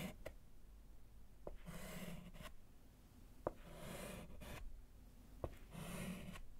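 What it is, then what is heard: Slate chalkboard. A gloved hand draws short strokes with a pink chalk stick on a small, flat, solid wood-framed slate chalkboard. Sharp taps of the chalk alternate with three bursts of scratchy, bright chalk-on-slate writing, all heard quietly over a low background rumble.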